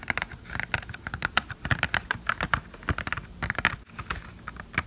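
Long painted fingernails tap rapidly on a small, hollow, clear and white plastic blister tray holding false eyelashes, held in both hands. The taps come as quick, dry plastic clicks with a bright tick around 1.4 kHz and no ring, in an uneven, keyboard-like patter.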